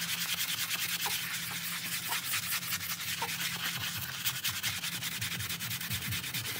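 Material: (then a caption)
Synthetic pile. A gloved hand scrubs a wet, soap-foamed grey and black patterned synthetic-pile rug on the floor with a bristle brush. The result is a steady, bright, hissing scratch of bristles through foam, with loose, uneven strokes about two or three per second over a faint low hum.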